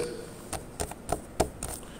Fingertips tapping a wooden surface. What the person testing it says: when i tap my left hand fingers on a wooden surface or a solid surface it clicks like fingernails